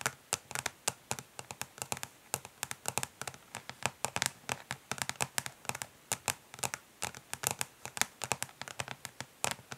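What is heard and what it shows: Long nails on both hands tap quickly, as if typing, on the back of a flat, rectangular, hollow plastic eyeshadow palette lying face down on a grey surface. About 52 crisp, dry clicks come in rapid, uneven bursts, each very short and bright with a hollow tick around 1.7 kHz and very little low end.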